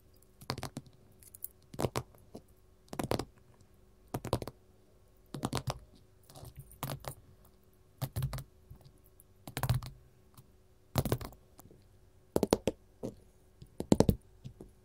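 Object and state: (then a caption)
Gold glitter mat. Long metal filigree nail caps, worn on both hands, tap on a flat, solid gold glitter mat. Short, dry clicking taps come in irregular clusters across the clip, with a low thud beneath each burst and little ring after.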